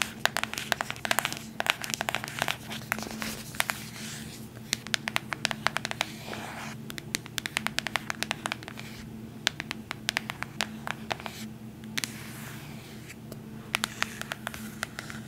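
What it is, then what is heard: Cardboard box. Long nails scratch and tap a small white cardboard AirPods box held close, giving a steady run of dry, crisp clicks and scrapes. The sound is bright with very short decay, over a faint low hum.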